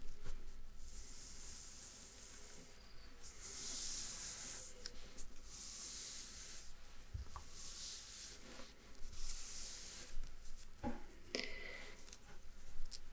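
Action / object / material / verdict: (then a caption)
scrape / printed paper map sheet / paper / none. A small printed paper map sheet lies flat on a dark cloth while fingertips rub and slide over it and a thin wooden pointer stick traces across its surface. Soft, bright rubbing and scratching swells come in bursts over a low, steady hum, with a few light taps and scrapes near the end.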